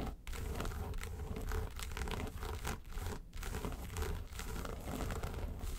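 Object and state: Faux-leather case scratched with nails.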